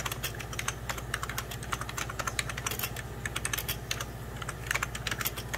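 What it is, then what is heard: Plastic computer keyboard being typed on. Rapid typing on a full-size 1990s Packard Bell keyboard, with fingertips and short nails pressing beige plastic keys set over a hollow plastic case. The presses land as a dense run of short, bright plastic clicks, each dying out almost at once. A steady low hum sits underneath.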